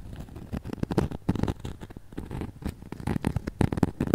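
Long nails rapidly scratch and tap the glittery face and arms of a flat, glitter-coated foam snowman ornament held up close. The result is a dense run of soft, crackly scratches and quick taps that are mostly low and muffled, with brief brighter bursts.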